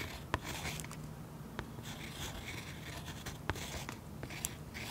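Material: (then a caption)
Oil pastel. A fine pen tip scratches and stipples texture into a waxy oil pastel coating on a sketchbook page resting on a solid flat surface, recorded close-up. Soft, steady scratchy strokes with bright, airy grain are punctuated by several sharp, dry taps that stop instantly without ringing, over a low, quiet background rumble.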